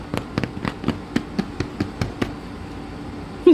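A freshly baked rosemary bread loaf, one of the first two just taken out of the oven, is thumped as a doneness check, giving eleven soft, dull knocks followed by quiet and a brief louder sound at the very end. The thumping reveals little difference, so doneness is judged instead by the loaf's dark crust colour and firm outside.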